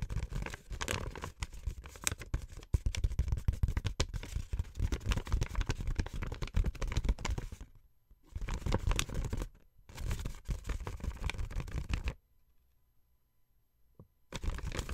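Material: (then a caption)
Paper. Long white-painted nails and fingertips crinkle and scrunch a thin sheet of paper painted with pink, red and gold designs. The result is dense, continuous crackling and rustling with a heavy low rumble. Brief pauses come near 8 and 10 seconds, then a longer near-silent gap before the crinkling resumes at the end.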